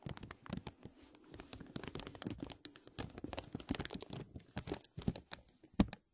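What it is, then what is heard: Crinkled plastic bag. Fingers grasp and crinkle a thin, clear, embossed plastic vacuum-seal bag stretched over a mesh microphone dome. The result is a quiet, steady stream of crisp crackles and rustles, with sharp bright snaps scattered through a soft low rumble of handling.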